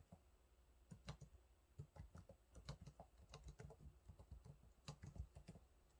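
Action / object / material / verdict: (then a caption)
tap / plastic laptop keyboard keys / plastic / none. Fingertips type on the low-profile plastic keys of a silver laptop keyboard, making quiet, irregular taps over about six seconds. Each keystroke is a dull, low thud with a brief bright click on top that dies away almost at once. The taps come in uneven bursts with short pauses between them.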